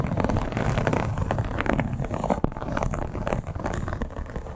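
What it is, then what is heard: Leather clutch scratched with nails. Long black-tipped acrylic nails on both hands scratch the embossed scales of a flat, hollow, soft red crocodile-embossed leather clutch. The result is a continuous, dense rasping that is mostly low and dull, with almost no bright content. Quick scratchy strokes overlap throughout, with one sharper click partway through.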